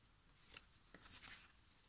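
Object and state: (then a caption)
Paper coloring book pages rustling. Fingertips rub and smooth the thin printed paper pages of a large paperback coloring book lying open on a table, then lift and turn them. Three soft, bright paper rustles and crinkles stand out over a quiet hiss. The sound is mostly high and airy, with little low end.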